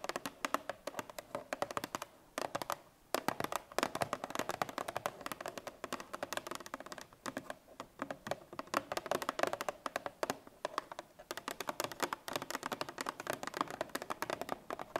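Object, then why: Paperboard milk carton. Long painted fingernails tap rapidly on a 1 L Parmalat Tetra Pak milk carton of paperboard laminate, likely full, lying on its side on a wooden table. Dense, quick, dry clicks with a dull mid-range tone and almost no ring come in continuous bursts, with brief pauses near the start. The whole clip stays quiet.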